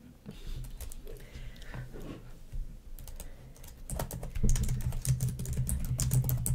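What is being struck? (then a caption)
Plastic laptop keyboard tapped and typed on with fingernails. Long nails type and tap on the keys of a black plastic laptop keyboard, making quick, irregular clicks with a soft low thump under each press. The tapping starts quiet and sparse, then grows louder and denser in the second half, with bright clacks.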